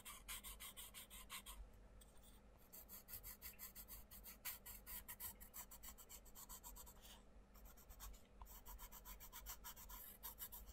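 A wooden coloured pencil scratches dense back-and-forth shading strokes across the paper page of an open colouring book on a wooden desk, with the other hand holding the page flat. Quiet, bright, raspy scratching comes in rapid rhythmic bursts over a low steady hum, with brief pauses around two and seven seconds.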